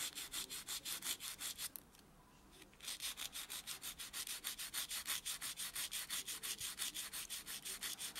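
A white solid foam buffer block is rubbed back and forth against natural fingernails, with the hand resting on a dark textured surface. About forty quick, bright, hissing buffing strokes come in a steady rhythm, with a brief pause near the two-second mark before the strokes resume.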